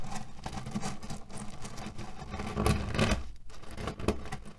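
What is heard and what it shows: Fingertips tap and scratch across a cotton-canvas cherry pit pillow. The result is a dense, low-heavy rustle with scattered soft taps and a gritty, crunchy texture as the pits shift inside. The sound swells briefly near the middle, then settles.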